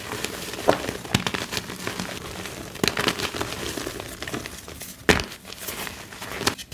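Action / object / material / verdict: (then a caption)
scrape / dyed magnesium carbonate gym chalk block and powder / gym chalk / none. Fingertips crumble loose blue-dyed magnesium carbonate gym chalk powder in a plastic bin, then both hands squeeze and snap a small solid blue chalk block in two. A steady, dry crackling and crinkling runs throughout, broken by several sharp, bright snaps that die away quickly.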